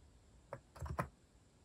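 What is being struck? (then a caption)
Mechanical keyboard with plastic keycaps. Fingertips type slowly on a compact white-cased mechanical keyboard with cat-themed plastic keycaps. Four short, muted keystroke clacks are heard, low and thocky with very little brightness. Each dies away almost instantly into a quiet background.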